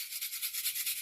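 A faceless gingerbread paper shaker tag filled with real vintage Christmas candy sprinkles (sugar) is shaken back and forth. The loose sprinkles make a steady, bright, hissy rattle with rhythmic pulses.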